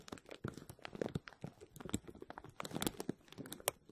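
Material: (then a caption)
Plastic film. A clear plastic bag is stretched over a hollow wire-mesh dome of a metal mesh strainer, and fingertips with short nails press, rub and scratch the film. It makes a dense run of quiet, dry crinkling and crackling, with quick sharp bursts that fade almost instantly and occasional brighter scratches.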